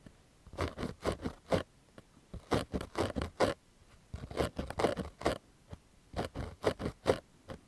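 Fingernails scratch the fabric crown of a pink cotton baseball cap with a stitched patch, held near the mic. Short, dry scratching strokes come in four clusters separated by brief pauses, with a soft rasp centred in the mids and faint bright edges.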